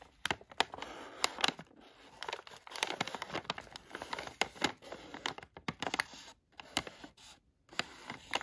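A palm-sized yellow Halls cough drop bag made of thin plastic foil and filled with drops is traced and scratched with fingertips, then with a thin black tweezer-like tool. It makes dry, bright crinkling and scratching, with many sharp, short ticks over soft rustling and brief silent gaps. There is almost no low end.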